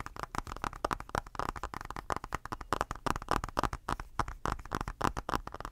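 Fingertips tap and scratch the glass screen of a tablet in a blue silicone case, close to the mic. A rapid, uneven stream of short, dry clicks and taps centered around 1 kHz, each dying away instantly with no ring, mixed with soft scratchy friction.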